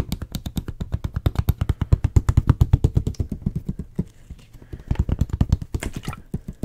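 Fingertips and nails tap quickly around the blue cap and neck of a clear plastic water bottle with a white label, held in the hand. The result is a fast, uneven stream of short, dull, low taps that die away instantly. The taps soften and thin out around the four-second mark, then return in a denser burst with a few brighter clicks near the end.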